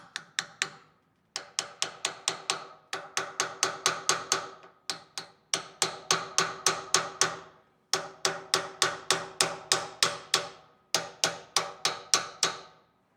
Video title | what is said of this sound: How to replace trailer bearings - Don't get stuck on the road with a bearing failure! | YOU CAN HEAR THE CHANGE OF WHEN IT ALL GOT SEATED, the change in how it sounded